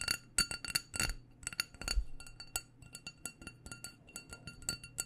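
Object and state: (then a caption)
Glass candle jar. Long painted nails tap quickly on the sides and rim of a small black glass candle jar with a white label, filled with wax. About 23 short, bright glassy clinks sound in an irregular rhythm, each with a high ring that dies away almost at once over a faint low hum.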